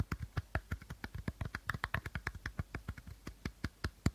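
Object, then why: Plastic bottle. Short fingernails tap and scratch the plastic body of an empty, hollow clear plastic bottle with a teal cap, held sideways. About 27 quick, soft taps follow one another, each a dull low thud with a faint bright click that dies away almost at once.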